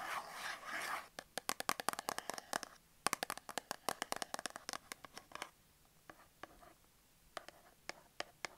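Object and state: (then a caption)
Cardboard soap box. Long acrylic nails rub and scratch the surface of a small, closed, printed cardboard soap box held in the hands, with a bar of soap inside. A brief, dense scratchy rub gives way to a long run of sharp, dry, bright taps and clicks with almost no ring, thinning out toward the end.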